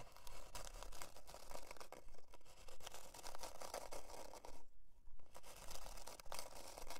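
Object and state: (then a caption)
Plywood board scratched with fingernails. Long dark nails scratch the surface of a thin, flat, solid plywood heart-shaped board near its twine loop. The result is a steady run of dry, rhythmic scraping strokes over a low background rumble, with a brief lull just before the five-second mark.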